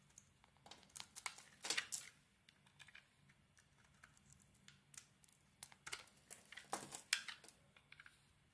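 An oval solid bar of soap, purple with gold glitter and a cream interior, is shaved with a utility knife blade. A string of short, crisp scraping and crinkling bursts, mostly bright with almost no low end, comes in uneven clusters over quiet pauses.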